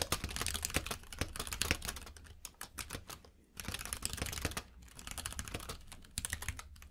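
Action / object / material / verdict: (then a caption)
tap / mechanical keyboard with plastic keycaps / plastic / none. Fingertips type on a compact mechanical keyboard with plastic keycaps, producing a rapid stream of sharp, clicky keystrokes. The clicks have a bright top end and a low thump beneath. Brief pauses near the middle and at the end break up the dense typing.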